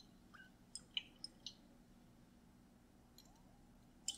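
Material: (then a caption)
Glass. A clear, mostly empty glass mason jar with a metal lid is held up and tapped with the fingernails. Seven short, bright clicks ring at around 3 kHz, each dying away almost at once over a quiet background: four quick taps early on, then a pause, and three more near the end.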